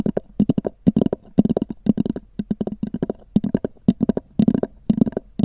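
Long nails tap and scratch quickly across a small black oval hard-shell EVA zip case with a textured cover. Each tap gives a short, hollow knock with a low-mid body around 200 Hz. Faint bright scratchy edges run through an irregular stream of clicks that stop almost instantly.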